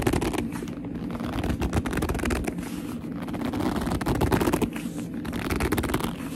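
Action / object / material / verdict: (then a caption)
scrape / leather handbag / leather / none. A medium black leather handbag with a soft, hollow body is gripped and scratched by long almond nails and fingertips, making squeaky gripping sounds. Dense, rapid crackles and squeaks run throughout, with a warm low body under a faint bright edge and short rises and dips in level.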